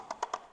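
Three quick taps on one small area of a fiberglass boat transom give short, dry knocks centered around 1 kHz with almost no ring. The slightly hollow tone marks a spot where the fiberglass is poorly adhered, not quite hollow but not bonded well.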